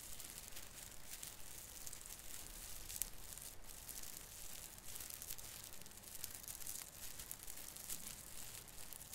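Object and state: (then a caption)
Plastic artificial Christmas tree branches. Fingers rub the hanging end of a branch on a small artificial fir tree with plastic needles, making a steady, dense crinkling rustle. Quick, bright scratchy rasps sit over a low rumble and repeat at an uneven pace throughout.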